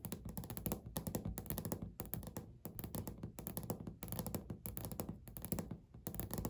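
Natural medium-length nails on both hands tap rapidly on a flat, solid, beige speckled laminate desk or countertop surface. The result is quick bursts of dull, low thunking taps with short, dry decay and faint bright clicks on top. Brief gaps separate the bursts.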